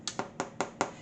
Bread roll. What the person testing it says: you tap the bottom and it should sound hollow